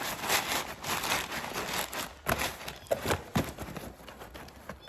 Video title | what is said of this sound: How to SAFELY Ship Expensive Books You Sell on eBay | you can barely hear anything now. So this is all packed up.